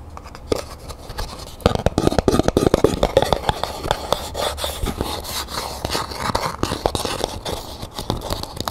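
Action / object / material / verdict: tap / small cardboard gift box with textured paper / cardboard / none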